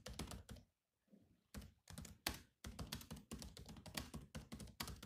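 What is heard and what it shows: Fingertips type on the black plastic keys of a silver laptop, producing quick clicky taps with a dull low thunk and a bright click on top. The typing runs in dense bursts, pausing briefly near the first second before continuing steadily to the end.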